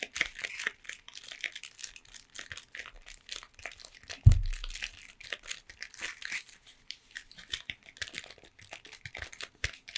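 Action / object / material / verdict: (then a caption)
tap / cardboard chocolate bar box / cardboard / none. A full, long triangular Toblerone cardboard box, possibly in plastic wrap, is held in both hands and tapped and scratched with long painted nails. A steady run of quick, dry, crinkly taps and scratches sits mostly in the high, bright range, with one louder low thump just past four seconds before the light tapping continues.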